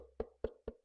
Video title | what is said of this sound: Crackle Paint siding on the Faded Mansion | it almost sounds like wood